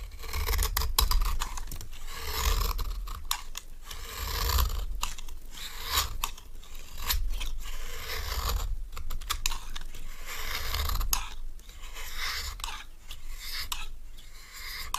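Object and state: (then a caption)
Dry bar soap scraped with a knife. A solid, dry, rectangular cream bar soap is scraped with a metal knife, shaving it into crumbly powder. Continuous dry scraping and crumbling with irregular bright, crackly strokes runs throughout over a low rumble.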